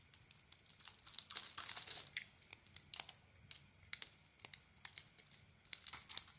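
A small metal blade shaves and carves a solid bar of soap held in the hand, its purple polka-dot coated surface giving way to a white interior as crumbly flakes peel off. The result is a quiet, uneven series of dry, crisp scraping and crinkling bursts, mostly bright and high with almost no low end, each cut ending abruptly with no ring.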